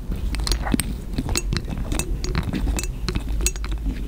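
Long green nails tap and clink on a small cobalt-blue glass dropper bottle, apparently partly full, with a glass dropper, and then the dropper is lifted out of the neck. A steady run of light, short, bright glassy clicks sits over a low background rumble.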